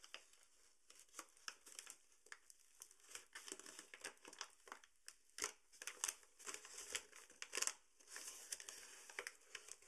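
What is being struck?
Paper bag of sugar.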